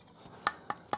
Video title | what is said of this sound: Starlink router failure, moving from Gen2 to Gen3 | this is plastic. Pretty sure it sounds like plastic